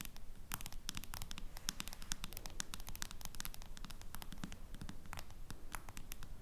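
A small, flat smartphone lies face down while long nails from both hands tap and lightly scratch its silver metal or plastic back case. Dense, quick, uneven clicks and scratches sound crisp and bright, with almost no ring. Beneath them runs a steady low rumble.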